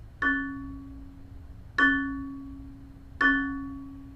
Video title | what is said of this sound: Modal Driving Point Survey | 実際に聞こえるのは、この3つの周波数だけです。